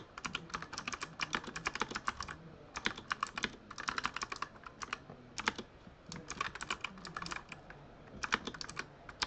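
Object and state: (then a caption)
Plastic mechanical keyboard. Fingertips type quickly on the RGB-lit plastic keycaps of a full-size Razer Huntsman mechanical keyboard. Rapid, bright, dry clacks come in bursts separated by brief pauses, each keystroke stopping sharply with no ring.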